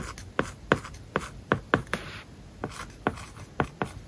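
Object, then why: Plastic stylus tip on tablet glass covered with matte plastic film. A plastic-tipped stylus writes the word "application" on a flat iPad covered with a matte, paper-like plastic film. Sharp, dry taps alternate with short scratchy strokes, and each contact dies away almost at once. A brief soft hiss of a longer stroke rises near the middle.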